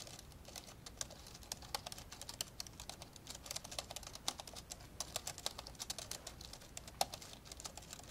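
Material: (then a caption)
Plastic. Fast two-handed fingertip typing on the plastic keys of an old, dark grey plastic laptop lying open, producing a dense stream of short, bright clicks and taps. Each keystroke dies away almost instantly over a faint steady background hiss, with a few louder key strikes standing out.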